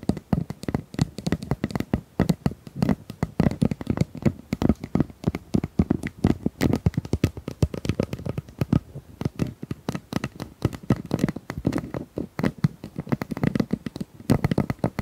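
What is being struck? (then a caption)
Corrugated plastic pop tube. Long nails tap and scratch along the ridges of a hollow, pink corrugated plastic pop tube about 25 cm long. A rapid, uneven run of dozens of short, dry clicks and taps fills the clip. The sound is low and hollow with little high-end sparkle, and each tap dies away almost instantly.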